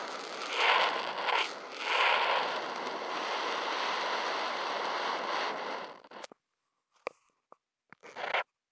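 The felt tip of a Posca marker, picked up by a contact mic on the marker, is drawn across a flat white sheet of Kent paper in long, continuous meandering lines. It makes a steady, bright, dry scratching rasp for about six seconds, swelling slightly as the stroke changes. The rasp stops, and a few short isolated taps and a final brief stroke follow with silence in between.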